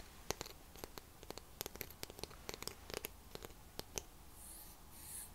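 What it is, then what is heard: Wooden comb. A light, solid wooden fine-tooth comb about the length of a hand is held in one hand while fingertips and nails rub and scratch along its teeth. It makes a quick, uneven series of short, dry, bright ticks with no ring. It ends in a softer, airy brushing hiss.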